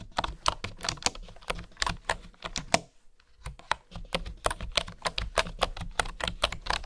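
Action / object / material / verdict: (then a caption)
tap / bamboo wooden keyboard / bamboo / none. Fingertips and nails type on a bamboo wooden keyboard, tapping the keys in a quick run of short, dry, bright clicks. The typing breaks off for a brief pause near the middle, then resumes at the same steady pace.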